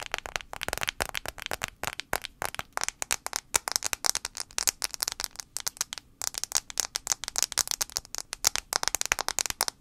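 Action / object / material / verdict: tap / smartphone glass screen / glass / none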